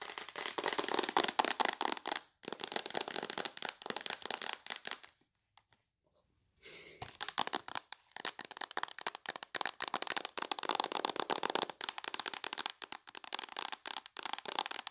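Long nails tap rapidly on a tablet's glass screen and its mint plastic/silicone case, making dense bursts of bright, sharp clicks. The tapping breaks off into near silence for about a second and a half midway, then resumes just as fast until the end.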